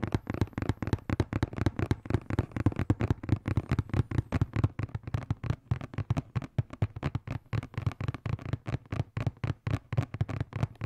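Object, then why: Cardboard box. A hollow blue and black printed cardboard box, held close to the microphone, is tapped quickly with fingertips and nails. The result is a fast, steady stream of short, dull, hollow thuds with a low boomy body and very little bright content, each tap dying away almost at once.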